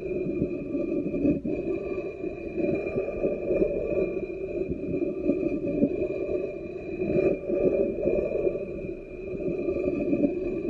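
A wooden spoon scrapes across the base and foot ring of an upside-down black ceramic bowl. The result is a continuous, textured rubbing scrape centered in the low mids around 270 Hz, with faint steady tones above it and brief dips and swells in level.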